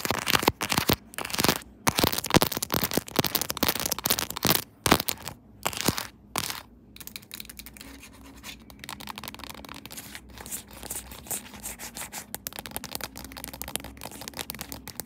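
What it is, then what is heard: Quilted soft plastic phone case scratched by fingernails. Long pink nails rub and scratch fast over the raised diamond pattern of a puffy pink quilted soft-plastic phone case, with the phone held upright on a tripod. Loud, bright, dry scratching bursts come in quick, uneven strokes for the first six seconds or so, then drop to a softer, steadier rasping over a faint low hum.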